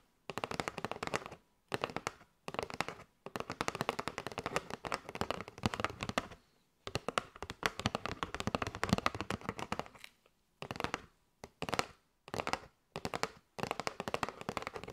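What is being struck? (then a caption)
Cardboard box of paper straws. Long nails tap rapidly on a kraft cardboard box with a window, full of paper straws. Dense bursts of crisp, dry clicks and taps are separated by brief silent pauses. The taps die away almost instantly, giving a bright, papery rattle.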